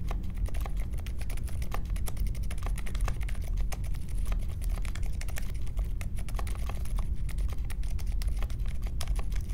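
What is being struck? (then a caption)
Mechanical keyboard with metal case and plastic keycaps. Fingertips type steadily on the plastic keycaps of a compact Polaris mechanical keyboard with a metal case and Silent Alpaca switches, resting on a marble desk. The rapid keystrokes make soft, muffled, low-heavy clacks that stop dead with no ring, forming a continuous even patter.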